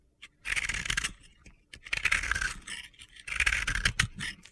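A utility knife blade scrapes gritty layers off a hand-sized, solid yellow and pink crumbly soap ball (bath bomb), cut flat and held in the hands. Three long, dry, crunchy scrapes with a hissy, gritty texture are heard, separated by short pauses.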